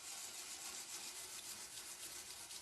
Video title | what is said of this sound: Baked Kale Chips | So I knew they were done because I shook them around and I could hear how crispy they were.